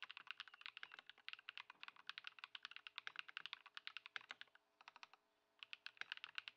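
A compact white Ducky One 2 SF mechanical keyboard with plastic keycaps, modded with Poron foam and swapped to Lumia Matcha switches, sits on a wooden desk as fingertips of both hands type on it continuously. Quick, bright, dry clacks with a high tonal ring come in dense bursts, pause briefly near the five-second mark, then resume.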